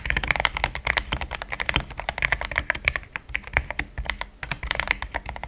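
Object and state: Mechanical keyboard with plastic keycaps.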